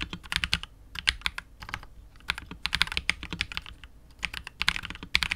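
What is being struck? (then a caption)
Mechanical keyboard, plastic case and PBT keycaps. Fingertips of both hands type continuously on a KBD67 Lite R2 custom 65% mechanical keyboard with KTT Wine Red, PBT keycaps and a hollow, clear translucent polycarbonate case. Quick bursts of bright, crisp clacks come in uneven clusters with brief pauses, each keystroke dying away almost instantly over a soft low thump.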